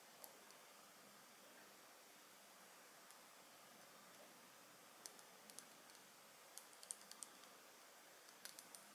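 A Bvlgari Jasmin Noir dark glass perfume bottle with a gold metal cap, held in the hands, is tapped with long nails on both the bottle and the cap. Quiet, sharp, bright clicks with almost no ring sit over a soft steady hiss. After a single early tap, most of the clicks come in a scattered cluster through the second half.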